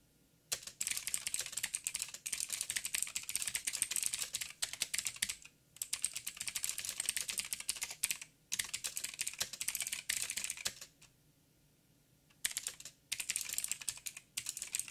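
Fingertips of both hands type on a backlit mechanical keyboard with black plastic keycaps on a silver frame and a hollow housing. Rapid, bright, high clicks and clacks come in dense bursts, with short pauses and one longer silence near the end before the typing resumes.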